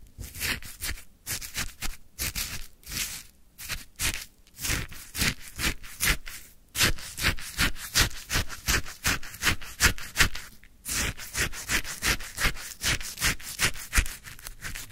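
A wooden stick scoops and stirs icy frozen lemon sherbet in a white paper cup, making rapid, uneven crunching scrapes. Short, dry crackles with a bright, gritty top and a soft low thump follow each other at nearly three per second, with only brief pauses between strokes.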